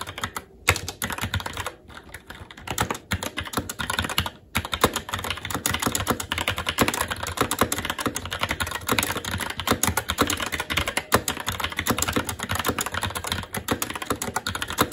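Fingertips of both hands type continuously on a SteelSeries Apex 7 TKL mechanical keyboard with red linear switches, black plastic keycaps and an aluminum plate. Rapid, short clacky taps run together in a dense, steady stream, with brief pauses near the start before settling into unbroken typing.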